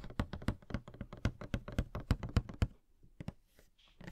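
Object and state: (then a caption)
Cardboard toy box with plastic window. Fingertips and short nails tap quickly on a small, hollow cardboard Funko Pop box (Coca-Cola Can, no. 78) held in one hand, striking its printed cardboard sides and clear plastic window with a figure inside. The taps are dull, low, hollow thunks with very short decay, coming in a fast, uneven run for about two and a half seconds. They then thin out into a few softer taps and faint rustling.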